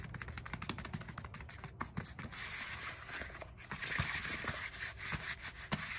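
Long fingernails quickly scratch and tap the knobs of a black textured foam roller with a hollow core. Rapid, dry scratching rasps mix with light, muffled taps throughout, and the scratching turns denser and brighter in the second half.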